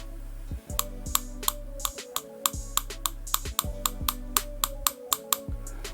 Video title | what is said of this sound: 【ミニ四駆】シャフト選別でタイヤのブレ軽減！！足回りカスタム編第一弾スタート！！【VZシャーシ】【Mini4WD】 | 叩いてみると分かりやすくてカチカチと音が鳴るので